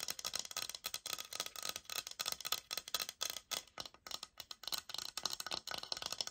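Long nails scratch and tap the textured face of a thick light oak laminate floor plank sample with a sticker label, held upright. The result is a steady run of quick, dry, bright scratches and clicky taps with almost no low end, each tap dying away instantly.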